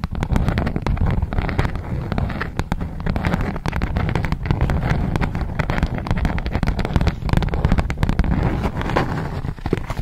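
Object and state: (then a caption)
Beeswax-coated cotton food wrap being crinkled. A polka-dot beeswax-coated cotton food wrap sheet is tapped and scratched with long nails and crinkled. The result is a steady, dense crackling, made of many short, dry clicks and crinkles over a low, heavy rumble throughout.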